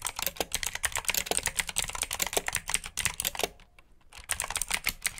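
Both hands type continuously with their fingertips on a black plastic RGB mechanical keyboard with blue switches. The keystrokes are rapid, sharp and bright, with a short pause near the middle before the typing resumes.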